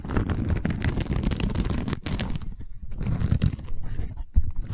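Long white-painted nails scratch and tap a long cylindrical tube covered in woven seagrass/straw weave, held horizontally. The result is a dense, dry, crunchy rasp weighted heavily toward the low end, with brief quieter dips around 2 and 2.7 seconds and a sharper tap standing out near the end.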